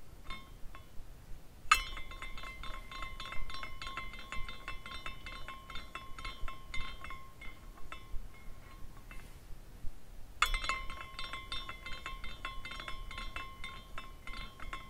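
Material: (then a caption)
Glass. A small glass carousel ornament is pushed at its base with a fingertip and set spinning twice, and its loose glass horses clink and tinkle against each other as it turns. The clinks are bright and glassy over a steady ringing tone near 1 kHz and 2 kHz, fading briefly before the second push starts them again.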